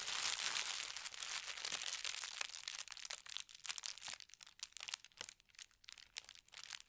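Hands press, rub and smooth a thin white tissue paper sheet with a gold star print, lying flat on a bed, using fingertips and nails. A dense, bright crinkling rustle fills the first few seconds, then breaks into quicker, separate soft crackles and brushing strokes, all high-pitched with almost no low end.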